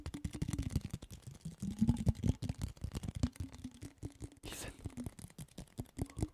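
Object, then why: Cardboard chip can. A red, handheld, hollow cylindrical Pringles can made of cardboard with a printed wrapper is held in both hands near a microphone while fingertips and fingernails tap and scratch its side. Rapid, dry, hollow low thumps come in quick bursts, mixed with soft scratchy rasps and a brief brighter scrape midway through.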